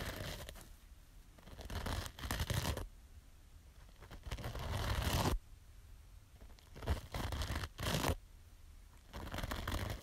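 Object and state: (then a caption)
Scouring sponge scratched. Long nails scratch across the green abrasive top of a small yellow foam kitchen sponge with a scouring layer. The result is a series of rough, broadband scratching bursts separated by quiet pauses, with a low rumble underneath and a bright, hissy edge.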